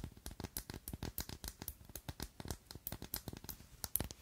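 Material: Glass.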